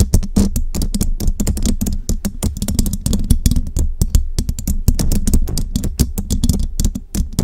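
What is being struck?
Metal mesh microphone grille.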